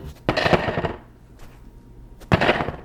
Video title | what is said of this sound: Julia Child's BRIOCHE STRAWBERRY SHORTCAKE Should Break the Internet | it makes a hollow sound when thumped